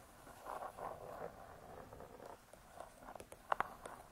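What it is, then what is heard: Spiral-bound hardcover cookbook. Long pointed nails scratch softly across the hard cardboard front cover of a spiral-bound cookbook, *Vegetarian Cookery*, making a dry papery rustle. They then tap it five times in short, crisp clicks with no ring, the loudest near the end.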